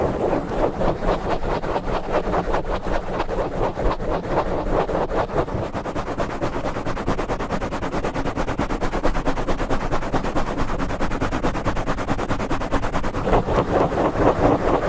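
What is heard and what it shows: Fingertips of both hands rapidly scratch and rub a black foam microphone windscreen. The result is a dense, steady stream of quick, scratchy rustling strokes with a heavy, muffled low end and little brightness, continuing without pause throughout.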